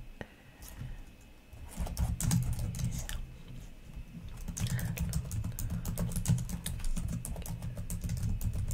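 Long nails and fingertips type on the plastic keys of a black laptop keyboard, making quick, irregular clicks and taps with bright, dry edges over a steady low hum. It starts quiet and grows denser and louder after the first two seconds, each click dying away almost at once.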